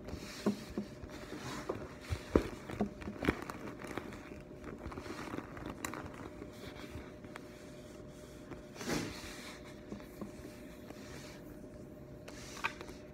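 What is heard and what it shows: Fingertips with long painted nails tap and rub the surface of a bright neon-green glossy patent vinyl (PVC) handbag, hollow and soft-sided. Soft, dull taps and faint crinkly rubbing come in scattered clusters over a quiet, steady low hum, with a few sharper clicks standing out near the start and a brief swishing rub midway.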